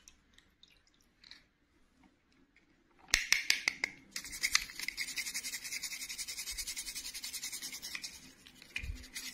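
A small, hollow, pink, glittery plastic clip-on doll dress is held in the fingertips and scrubbed with a red-and-black toothbrush over an empty white bowl. After a few quiet, faint ticks, a burst of sharp plastic clicks gives way to fast, steady, bright bristle scratching that continues to the end.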